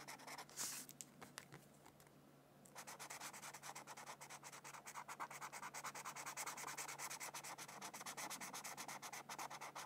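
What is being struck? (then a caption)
Felt-tip marker on a thin paper sheet. A felt-tip marker, held in a hand with long nails, rubs and strokes across a thin white paper mandala sheet resting on a book. A few scattered scratchy strokes and a brief hush give way to a steady run of quick, bright, dry back-and-forth scribbling that fills in the paper.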